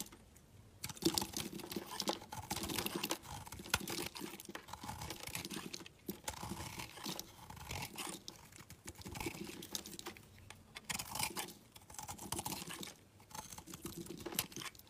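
A hand-held green and yellow layered solid soap bar is shaved and cubed with a metal box-cutter blade. The result is a dense run of crisp, bright scraping and crunching strokes, coming in bursts separated by brief pauses.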